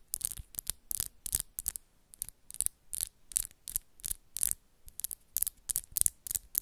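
Long, solid coffin-shaped acrylic press-on nails are rapidly tapped and scratched against the nails of the other hand. The result is a quick, irregular series of bright, dry clicks and short, scratchy rasps with almost no ring, heard quietly over a faint low hum.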